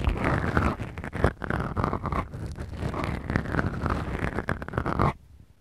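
Long acrylic nails slowly scratch two small, soft, porous black foam windscreens fitted on the mics of a Tascam recorder. The result is a deep, muffled, continuous scratching and rustling with a heavy low rumble and little brightness, rising and falling in waves for about five seconds before it stops abruptly into near silence.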